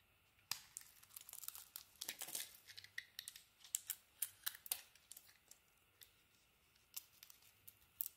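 A metal blade shaves and scrapes the glossy pink, gold and teal painted coating off a palm-sized solid white soap bar held in one hand, and the chips fall onto the table. The sound is a string of quiet, sharp, bright scratches and crisp crackles with almost no low end, each dying away instantly, some close together and others spaced apart.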